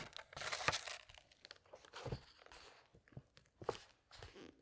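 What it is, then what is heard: Paper book pages being turned and rubbed. Hands turn a glossy paper page of a large hardcover book, making a bright, papery swish, then rub the open spread flat with their fingertips. Soft rustles and light crinkling scrapes follow in short, uneven bursts.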